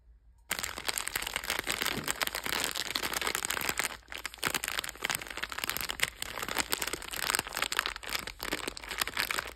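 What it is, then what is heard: Plastic snack packet being crinkled. A sealed, palm-sized red Dorna Burger snack packet of glossy plastic film, with a soft cake inside, is held in both hands and pressed and crinkled by fingertips with long dark red nails. After a brief silence, dense, bright crinkling and crackling of the plastic film runs continuously, with a few short pauses.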